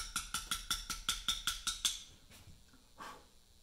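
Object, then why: Steel chisel struck by a round mallet on a limestone block. A small round mallet strikes a chisel against a large, solid Portland limestone memorial block. Ten sharp, evenly paced metallic taps ring bright with a tone near 3.6 kHz and decay quickly. A few fainter scrapes and knocks follow as the tapping stops.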